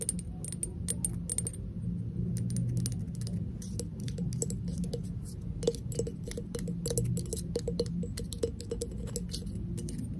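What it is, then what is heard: Hollow ceramic vase. Long acrylic nails rapidly tap a small, hollow, empty, unglazed pink ceramic vase with a sculpted face and a narrow opening, held in the hand. Many quick, light, clicky taps give off a brief hollow ring over a steady low rumble.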